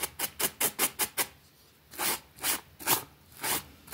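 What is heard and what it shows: A pink plastic bristle brush scrubs a small, flat, damp green fabric rug with a rabbit print lying on a concrete floor. Eleven bright, raspy brushing strokes are heard: six quick short strokes first, then after a brief pause, slower and longer sweeps.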